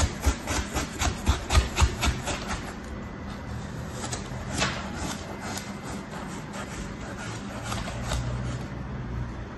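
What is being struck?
Packed kinetic sand cut with a plastic knife.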